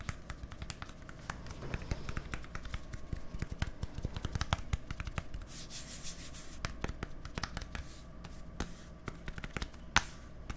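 Fingertips and nails rub and scratch a small, hollow white plastic deodorant stick with a green cap held close to the microphone. The result is a dense stream of quick, dry clicks and scratches over a low rumble, with a brighter hissing scrape around the middle. A single sharp click stands out near the end.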